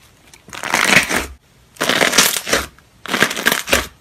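Fingertips poke, press and squeeze a large white glossy slime resting on a white surface, popping the air bubbles trapped inside. Three bursts of dense, bright crackling pops and squelches are heard, each lasting under a second with short quiet gaps between them.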